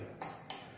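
The rigid steel fork of an Element Ecosmo 9-speed folding bicycle is tapped twice to compare its sound with the alloy frame. Each tap gives a bright metallic ping that rings briefly, with a pitch around 780 Hz.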